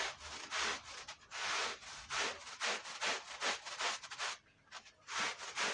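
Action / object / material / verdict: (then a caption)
scrape / wool woven rug scrubbed with a stiff brush / wool / none. A long-handled push brush scrubs a foamy red woven wool Persian rug in repeated strokes. Each stroke is a bright, bristly swish with most energy high up and almost nothing in the low end. Short pauses separate the strokes.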